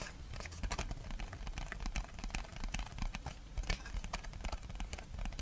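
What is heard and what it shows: A small, thin, empty flower-shaped paper plate with a red pattern and gold rim is held and tapped on its front and back with long red-painted fingernails. A steady run of quick, light taps and bright clicks sits over a soft low thudding, with each tap dying away almost instantly.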